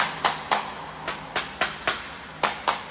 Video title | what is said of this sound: ЗАТОПЛЕННОЕ МЕТРО под КИЕВОМ ! ПОЧЕМУ ТОНЕТ МЕТРО ? | отошло уже, все, оно уже там не держится